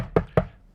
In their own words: knocking on wood